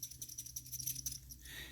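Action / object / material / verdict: shake / automatic wristwatch, metal case and winding rotor / metal / scraping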